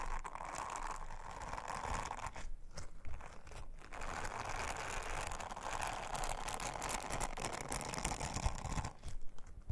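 Long-nailed fingers rub and brush an orange silicone bristle scrubber over a round, flat, thin blue silicone honeycomb trivet. The result is a steady, dense, crinkly scratching and brushing texture with a heavy low rumble underneath, broken by a few brief pauses before the strokes resume.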